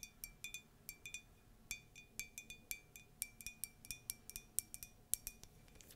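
Light taps and clinks on a ceramic Disney mug from a mug collection, some paired with scratching. About twenty-seven short, bright, high-pitched ticks come at an irregular pace, each with a faint ring, over quiet background hiss.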